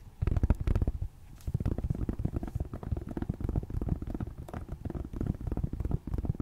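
Long painted nails tap and scratch across the black plastic back of a tablet held flat on the lap. Rapid, dull, low-pitched taps with very short decay blend with soft scratching, pausing briefly around one second before continuing steadily.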